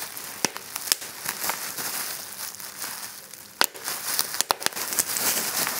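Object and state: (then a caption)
Plastic bubble wrap being popped. Clear plastic bubble wrap on a table is pressed with fingertips, then bunched and squeezed in one hand to pop the bubbles. Sharp, bright pops cut through a steady high crinkling and rustling of plastic, with almost no low end.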